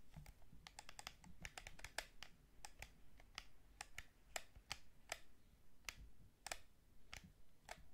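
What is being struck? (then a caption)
Plastic game controller. A hollow white plastic PS5 DualSense gamepad is held in both hands while fingertips tap and press its shoulder buttons, triggers and sticks. About two dozen short, dry, bright plastic clicks come in an irregular run over a soft low rumble, each dying away almost at once.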